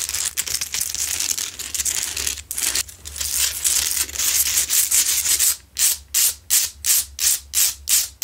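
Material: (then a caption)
Rock salt. Long nails scratch fast across a lit, medium, solid, rough Himalayan salt rock lamp, making a dense, bright, gritty rasp for the first five seconds. The scratching then breaks into a steady run of separate, evenly spaced strokes, each a short hiss with a quick fade.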